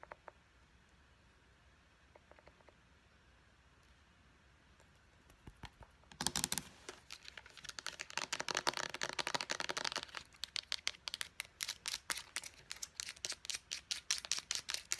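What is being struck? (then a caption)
Small plastic pump bottle. Fingernails tap on the pump cap and body of a small, hollow white plastic Clean & Clear bottle with a purple pump. After a near-silent start with a few faint taps, a crinkly burst around the six-second mark gives way to fast, dense tapping. The sharp, bright, hollow clicks die away almost instantly.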